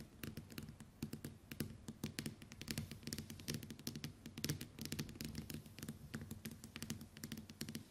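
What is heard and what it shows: Long white nails tap and scratch the glass screen of a small, flat smartphone lying face up on a table. The result is a rapid, dense run of short, dry clicky taps with a soft low thud under each, mixed with brief scratching, all at a quiet, steady level.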